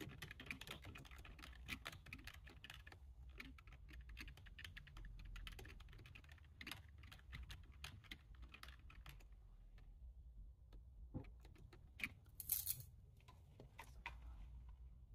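Both hands type quickly with their fingertips on a low-profile plastic computer keyboard. The result is a steady patter of soft, clicky keystrokes over a low background rumble, with a brighter burst of clatter near the end.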